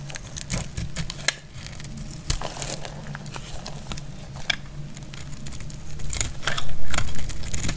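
A metal utility blade cuts into a solid dark purple bar of dry soap, breaking off crackly chips. Irregular dry snaps and crackles sound over a steady low rumble and grow louder and denser toward the end.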